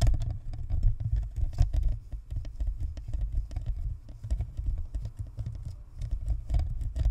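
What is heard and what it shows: Long natural nails from both hands scratch and tap the sides of a white, spherical plastic Blue Snowball USB microphone, a hollow shell with a perforated grille, mounted on a stand. The result is a rapid, continuous stream of short, muffled thumps and scratchy rustles with a deep, boomy low end. Each tap dies away almost instantly, and the level rises and falls steadily throughout.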